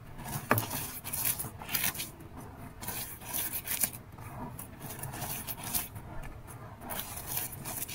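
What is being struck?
Pile of coloured powder with gym chalk and sand.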